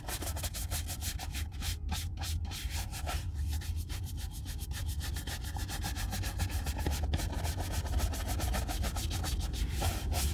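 A brown leather Red Wing Weekender Chukka boot, hollow and held in one hand, is brushed with a horsehair shoe brush in fast strokes. The result is a steady run of rapid, rhythmic bristle swishes, a bright scratchy hiss over a constant low rumble.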